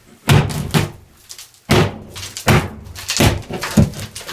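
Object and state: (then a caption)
Insulated interior drywall. Knocking on an interior bathroom drywall wall filled with pink fiberglass insulation, to check whether it keeps noise down. Several dull, low-pitched thunks are heard, each dying away quickly with almost no ring. The wall sounds insulated and damped.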